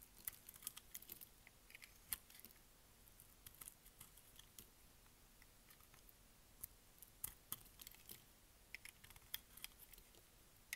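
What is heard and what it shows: A black-taped utility blade scrapes and shaves flakes off the embossed face of a hand-sized, solid, round, cream-colored dry bar of soap held in the palm. Quiet, dry, crisp scratches and sharp clicks come in an irregular run, bright and high with almost no ring, over a soft low hiss.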